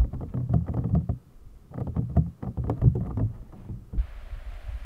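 Fingertips and nails tap rapidly on the top of an empty, clear, hollow PVC toy packaging box, making dense, low, hollow thuds in two quick bursts separated by a brief pause. After the tapping eases, a faint, steady hiss sits under a few softer taps.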